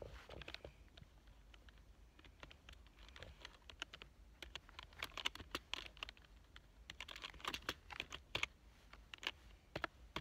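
Fingertips of both hands type on a full-size black plastic keyboard with a hollow body and membrane-style keys, lying on a fabric couch. Quick, dry, bright key clicks come in uneven bursts, each dying away almost instantly, over a faint low hum. The typing grows busier and louder in the second half of the clip.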